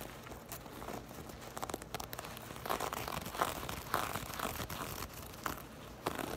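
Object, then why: Knit fabric purse. Long acrylic nails scratch and tap the ribbed weave of a black crochet or knit fabric purse held in the hands. Dry, crinkly scratching rustles steadily, broken by sharper taps that click briefly and fade quickly.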